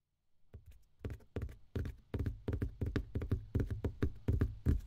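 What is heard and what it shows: An empty box is tapped in a steady series of about twenty dull, low knocks that grow gradually louder. Each tap is short and hollow, with most of its energy in the bass and almost no ring.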